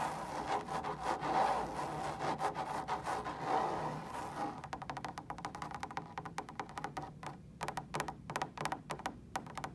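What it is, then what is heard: Fabric lampshade. Long stiletto nails scratch and tap rapidly on a large, hollow, woven fabric lampshade that is lit, in a hotel room. For the first four seconds or so the scratching is dense and continuous, with a hollow resonance in the upper midrange. It then thins into quicker, separate dry taps and short scrapes.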